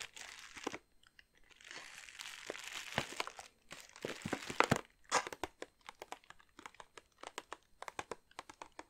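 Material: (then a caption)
Plastic. Long nails tap and scratch a large glossy plastic bag filled with wrapped chocolate truffles, making soft, bright crinkling. The first half is dense scratchy rustling with louder crunchy bursts. The second half turns into a quick run of sharp, separate taps.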